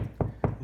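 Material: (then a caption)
Drywall. Knocking on drywall between studs, over the hollow wall cavity, produces three dull, low thuds with a short decay and almost no high-frequency content. The duller, more hollow sound marks a spot away from a stud, with no wood behind it.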